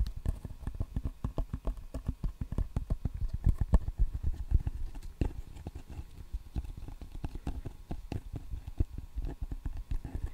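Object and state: Rubber-faced table tennis paddle.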